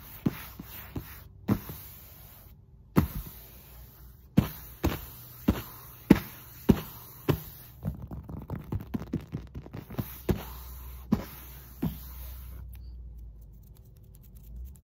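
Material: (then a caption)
Foam. Hands with long nails tap and scratch the surface of a black SPRI foam exercise mat lying on the floor, sometimes with fast hand movements. Short, dull, low thuds that die away almost instantly fall at an uneven pace, with soft scratchy rustling between them.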